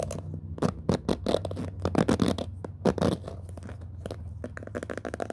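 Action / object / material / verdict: scrape / cushion hairbrush with plastic pin bristles / plastic / none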